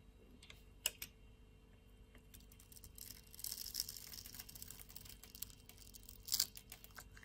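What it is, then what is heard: Bar soap being shaved with a blade. A metal utility-knife blade shaves small cubes off a solid pink bar of soap with a grid-scored surface, held in the palm. Quiet, bright, crisp clicks and crunchy scraping come in short bursts, with a denser stretch of crackling in the middle and a sharp crunch near the end. Each sound is dry and stops almost instantly.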